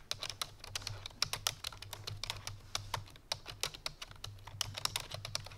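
A full-size black plastic computer keyboard resting on a white fur rug is typed on rapidly by fingertips with long painted nails. A fast, steady stream of short, bright plastic key clicks is heard, each dying away almost instantly, over a faint low hum.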